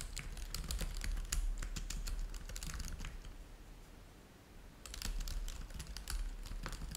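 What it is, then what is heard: Plastic laptop keyboard being typed on. Both hands type continuously with their fingertips on a black laptop keyboard with plastic keys, producing rapid, irregular bright clicks over a steady low rumble. The typing thins out into a near-pause around the middle, then resumes at full pace for the last two seconds.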